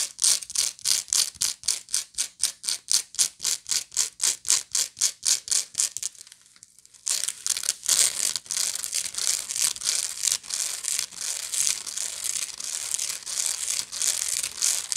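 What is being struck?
Woven straw bag.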